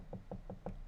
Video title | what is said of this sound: Build Stream: Xeno 75% Keyboard with Alpaca Switches | I don't hear any reverberations even with me knocking on the board. It's like a dull thud now